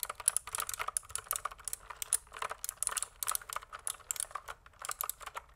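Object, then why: Plastic mechanical keyboard. A pink plastic mechanical keyboard, tilted at an angle, is typed on with fingertips in a steady stream of quick, crisp clicky keystrokes. The clacks are bright and sharp with almost no low end, and each one dies away at once.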